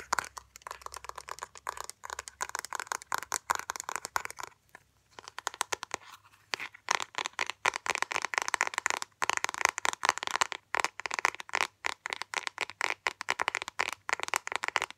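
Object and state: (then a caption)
Plastic makeup compact. Fingernails rapidly tap and scratch the lid and sides of a small, round, hollow black Sephora plastic compact with a printed gold ring and a barcode sticker, held close. The dense, crisp clicks and scrapes are bright and dry, centered around 1 kHz with no low end.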